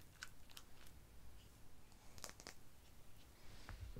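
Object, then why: Small glass dropper bottle. A small, dark amber glass dropper bottle with a white dropper cap and a label appears to be filled. It sits in a palm and is tapped with long painted nails. The result is quiet, rapid, uneven clicks, each a brief bright tick over a low background rumble.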